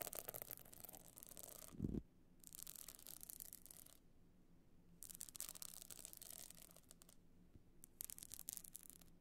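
Long nails scratch and rub the pebbled top of a rigid, hollow box clutch covered in small glued stone or shell chips. Four bursts of bright, gritty rasping are separated by quiet pauses, with a brief low thump at the end of the first burst.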